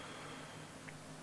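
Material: Nothing is struck.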